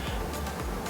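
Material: Nothing is struck.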